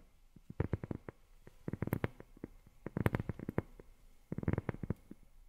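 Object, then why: Rubber sheet. Long fingernails tap on a rubber sheet in quick, uneven bursts. Each tap is a soft, dull, low-pitched tick that dies away almost instantly, with little brightness.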